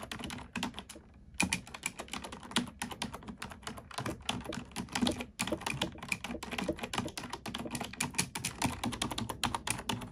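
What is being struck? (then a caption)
Plastic computer keyboard. A black plastic computer keyboard is typed on rapidly with fingertips and long nails. It makes a dense, uneven stream of short, bright clicks and taps with a light low thump under each keystroke. There is a brief pause near the start and another around the middle.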